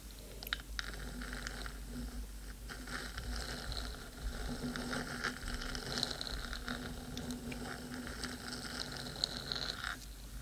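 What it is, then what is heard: Metal microphone body scratched with fingernails. Long pointed nails scratch and tap the black metal body of a 3Dio microphone while a second hand rests near its ear rim. The result is a steady, close, gritty scraping with small sharp clicks and a bright, high metallic sheen over a low rumble.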